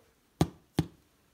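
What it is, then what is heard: Hollow-sounding loaf, bread baked through. Two knocks on the underside of a homemade Dutch oven bread loaf, turned upside down after coming out of the pan, give short, dull, hollow thuds with a low body and almost no ring. The hollow sound shows the bread is baked through.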